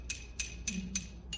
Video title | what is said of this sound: Lithophone w:Mike, Marilyn, & Elliot 2 4 22 | what happens if I don't hold it there? The sound is muffled.